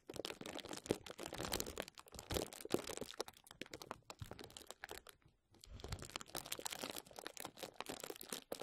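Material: Plastic.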